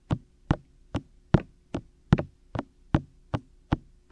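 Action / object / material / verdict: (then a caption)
tap / silicone microphone ears / silicone / none. Fingertips repeatedly tap the white, hollow, ear-shaped silicone ears of a black 3Dio binaural microphone on a tripod. Eleven separate, dull, low knocks come at a steady pace, each dying away almost instantly with a brief bright tick at the start.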